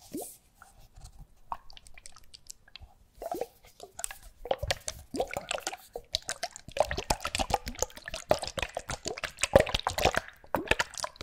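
Small bottles with liquid inside are shaken close to the microphone, giving sloshing, dripping and plopping sounds. The liquid moves in quick, wet bursts, sparse at first and denser toward the end.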